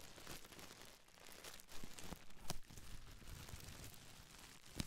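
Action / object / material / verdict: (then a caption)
scrape / plastic bubble wrap / plastic / none. A small folded bundle of clear, air-filled plastic bubble wrap is crinkled and scratched with long nails and fingertips close to the mic. The result is a quiet, continuous crackling and crinkling texture with brief sharp ticks and scratches scattered throughout.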